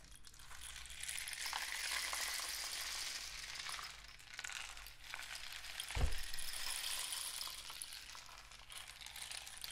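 A painted cardboard rain stick tube is held upright and tilted while fingertips tap along it. A steady, bright trickling rattle swells and fades, with a low hum underneath. A sharper thump cuts through near the six-second mark.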